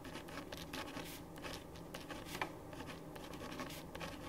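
A ballpoint pen writes on a thin printed paper sheet lying flat on a wooden desk, making continuous scratching strokes. The quiet, steady scratching comes in short, bright bursts as the strokes change, with one slightly louder stroke midway through.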